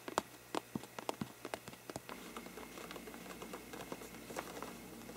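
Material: Paper.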